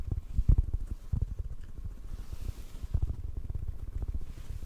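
Fingertips tap on a hollow black foam windscreen held in front of the microphone, producing soft, muffled low thumps with a deep rumbling body and almost no high end. The taps come in a quick, uneven patter, with a few louder thuds standing out over a steady, close low-frequency murmur.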